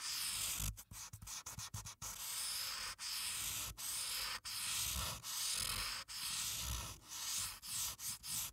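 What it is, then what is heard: Paper coloring sheet. A felt-tip marker rubs and scratches red color into Santa's hat on a thin sheet of white printed paper resting flat on a dark clipboard. The sound is bright, papery scratching in steady back-and-forth strokes, broken by short pauses that come quickly at first and then space out into longer runs.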